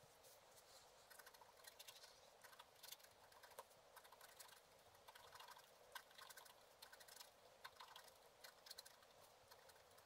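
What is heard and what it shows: A wooden stylus scratches across a black-coated scratch art card lying flat, making quiet, dense, rapid strokes. The short, dry scrapes are bright and papery, with almost no low end and a few slightly louder strokes standing out from the steady rasp.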